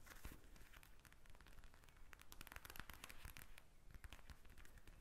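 Long nails tap and scratch across a pink plastic eye mask filled with gel beads, lying flat on a table. The result is a quiet, dense stream of crisp crinkly clicks and scratchy rustles over soft low thumps, with brief louder taps standing out and no ring after each one.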